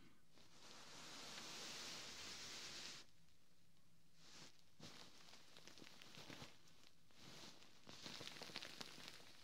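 Fingertips and short nails from both hands scratch and rub the ribbed, quilted fabric cover of a large soft white pillow lying in front of a binaural mic. A steady bright, hissy scratching swells for about three seconds, then gives way to bursts of crisp rustling and scratchy strokes with short pauses between them.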